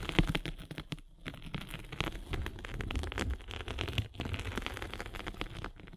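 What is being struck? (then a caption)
Abrasive foam sanding sponge scraped by a spiked roller. A derma roller with metal spikes is rolled across the gray abrasive face of a flat rectangular foam sanding sponge with a blue foam core, held in one hand. It makes a dense, steady crackling and scratching texture with a heavy low end. The sound briefly pauses around the one- and four-second marks.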